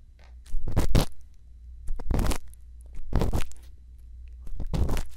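A thin bamboo earpick, held in the fingertips, scratches inside the ear canal of a white silicone ear mounted on a solid, round plastic binaural microphone housing. Four close, rough scratching bursts sweep across the range into the high end over a constant deep low rumble, with quieter crackly rubbing between them.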